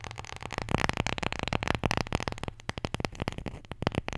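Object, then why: Small wooden letter tile. A wooden Scrabble letter tile, the J, is tapped and scratched in a rapid, uneven run of short, dry clicks and scrapes. The ticks are crisp with almost no ring, and a low steady hum sits underneath throughout.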